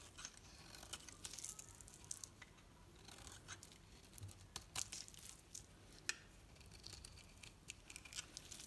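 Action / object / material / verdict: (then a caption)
scrape / bar of soap cut with a knife blade / soap / none. A knife blade carves thin strips from a solid green painted Dalan soap bar held in the hand, making soft, bright, crisp scraping and crackling cuts. Many short, sharp snaps stand out over a quiet, steady hiss.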